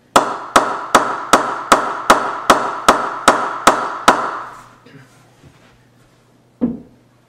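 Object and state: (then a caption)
Cricket bat being knocked in. A Pakistani-made CA 15,000 willow cricket bat, almost finished being knocked in, is struck with a mallet in a steady series of sharp, ringing pings centred near 1 kHz. Eleven evenly spaced strikes fade out quickly, followed after a pause by one last strike, twelve in all.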